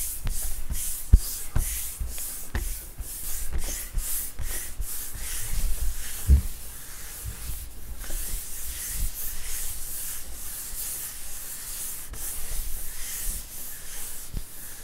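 Flat hands and fingers rub back and forth across a large, solid, flat wood-grain school desk top. The rubbing makes a steady, airy, bright hiss that swells and fades with each stroke, with occasional soft low thumps.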